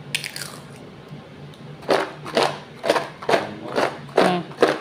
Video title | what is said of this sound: crispy potato chips - ghar mein Banai Uncle Chips- sirf 10 rupay mein bahut sari Uncle Chips | आपको इसकी आवाज से पता चल रहा होगा यह कितने क्रिस्पी बने हैं